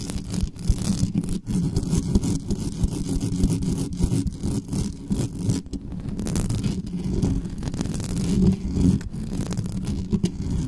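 Long nails scratch fast across the metal mesh grille of a black studio microphone, giving a continuous dense scratching and rustling that is heavy in the low end around 100–300 Hz. Quick scrapes overlap with little ring and almost no high content. The source is marked as not normal.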